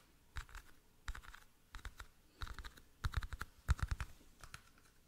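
Fingertips and nails tap and click on the sides and lid of a small, hollow, rectangular clear plastic toothpick case held in both hands close to the mic. Short, irregular clusters of quick, dry clicks sound over a quiet background, each with a soft low thump and a light bright tick and almost no ring.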